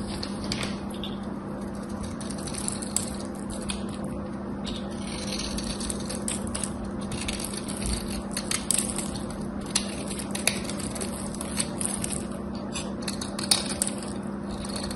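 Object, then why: Coated bar soap. A craft knife scrapes a solid, embossed, gold-coated bar of soap, stripping the gold coating and shaving the cream soap underneath into crumbly flakes. The scraping is a steady, gritty crunch with many small, bright ticks and clicks throughout, over a constant low hum.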